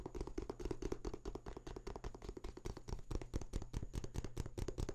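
A printed paper booklet or small book is held open close up while fingertips scratch and riffle its pages. Quick, uneven taps and papery scratches follow one another closely, full and low with short, dry decays and a faint steady high tone underneath.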